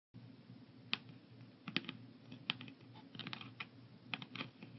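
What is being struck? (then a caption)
Plastic pill organizer. Fingertips and nails of both hands tap on the lids of a translucent blue plastic 14-compartment AM/PM weekly pill organizer, hollow and holding pills, lying on a wooden table. Sharp, bright plastic clicks come in an irregular, uneven rhythm, some louder than others, over a low steady background hum.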